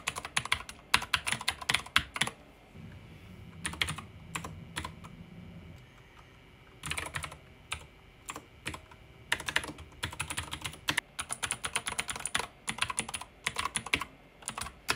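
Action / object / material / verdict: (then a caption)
tap / plastic mechanical keyboard keys / plastic / none. Fingertips with short painted nails type on a pink backlit mechanical keyboard with plastic keycaps and a plastic case. Bright, clicky key strikes come in quick bursts of typing, with a short quieter stretch carrying a low hum between them. Each keystroke is sharp and dies away almost at once.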